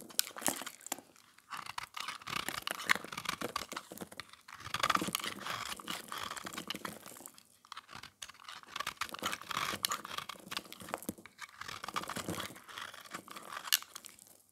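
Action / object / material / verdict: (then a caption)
scrape / bar of soap shaved with a metal blade / soap / none. A metal knife blade shaves the surface of an oval, solid, white dry soap bar painted silver and red, held in the hand. Rapid, dry, crunchy scrapes and crinkly flakes sound bright and crisp, with almost no low end and no ring. They come in dense bursts with brief pauses around 4.5 and 8 seconds.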